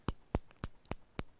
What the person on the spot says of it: इनको जब पीटते हैं ना तो ये आवाज करती हैं, टन टन की आवाज आती है